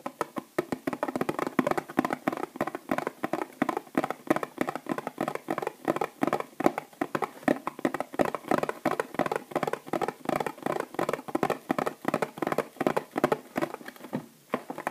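Long nails rapidly tap the flat cardboard end panel of a small bath bomb box, held upright and full of bath bombs. A steady stream of quick, dry, muted clicks is heard, centered in the midrange with almost no low or high end and no ring after each tap.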